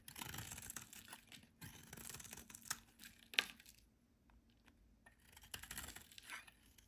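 A hand-sized solid white rectangular bar of soap, held in the hand, is shaved and scraped with a metal utility knife blade as flakes fall away. The scraping comes as dry, bright, crumbly bursts, with a sharp click near the middle, a quiet pause, then more scraping.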